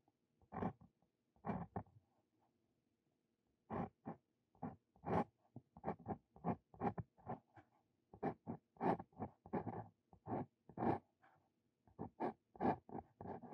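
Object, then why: Steel dip pen nib on paper sheet. Close-up of a steel dip pen nib, a Brause Cito Fein held in the fingers, scratching ink strokes onto a lined paper sheet. Short, quiet, dry scratchy strokes come in quick bursts with brief pauses between them, each a midrange rasp with little ring.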